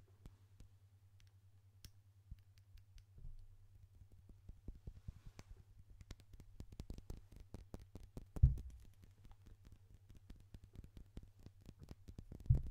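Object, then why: Small glass perfume bottle. A small clear glass perfume bottle with a gold metal spray cap is held up in front of the microphone and tapped and clicked with fingertips and nails. Quiet, rapid, irregular clicks and taps run over a steady low hum, with two sharper, louder knocks near the end.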